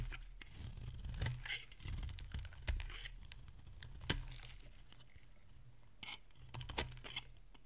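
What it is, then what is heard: Dry bar soap being shaved. A metal utility blade shaves curls from a solid, rounded bar of dry pink soap held in the hand. Irregular crisp scraping and snapping strokes come and go over a steady low hum, with short bright cuts between quieter stretches of soft shaving.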